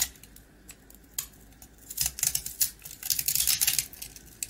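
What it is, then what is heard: Dark-coated rusk being carved. A box-cutter blade scrapes and carves the hard dark coating off a small, hand-held round rusk (a dry twice-baked bread, solid and crumbly inside). The result is a run of quick, irregular, bright, crisp scratches and crunchy clicks with almost no low end, growing busier and louder in the second half.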